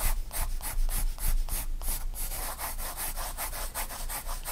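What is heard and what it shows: A graphite pencil shades on a spiral-bound paper sketchbook page, making quick back-and-forth scratchy rubbing strokes. Each stroke gives a bright, papery hiss over a steady low rumble, repeating at a fast, uneven rhythm.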